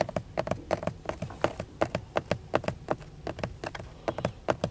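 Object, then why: Plastic steering wheel airbag cover. Fingertips with short nails tap and scratch the grained, textured dark plastic airbag cover at the center of a car steering wheel, a hollow, rigid shell with a chrome badge. About 25 quick, dry taps land in an uneven rhythm, each with a short hollow knock around 600 Hz that dies away almost at once. Soft scratching fills the gaps between them.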